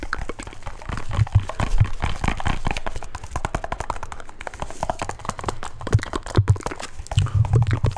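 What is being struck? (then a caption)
Small round metal tin. A small, round, hollow metal tin or grinder, silver with a blue band and a red top, is held up and tapped on its sides with fingertips and nails. The result is a steady flurry of quick, dry, closely spaced taps with short bright clicks over a low, hollow thump, each dying away almost instantly.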